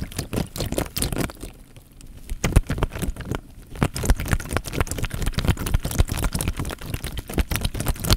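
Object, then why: Thin plastic bag filled with water. An elongated, clear, thin plastic bag full of water is held close to the microphone and squeezed and rubbed with the fingertips. The film crinkles in quick, uneven crackles over deep, low sloshing of the water, with brief quieter pauses before the squeezing picks up again.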